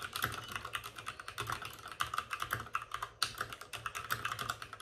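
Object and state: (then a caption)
Plastic mechanical keyboard. Both hands rapidly tap with their fingertips on the plastic keycaps of a white plastic backlit RGB mechanical computer keyboard, which sits on a desk with a padded wrist rest. The result is a dense, steady stream of crisp, short clacks with a clicky tone around 1.3 kHz and bright edges. Each tap dies away almost instantly and there is little low end.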